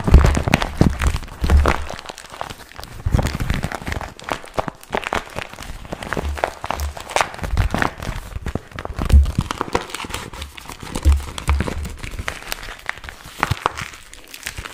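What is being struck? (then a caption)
Small vinyl zip pouch. A small glossy pink patent vinyl zip pouch is held close to the microphone while fingers crinkle and rub it. Dense, irregular crinkling and crackling continues throughout, with a heavy low-frequency thump from handling near the mic.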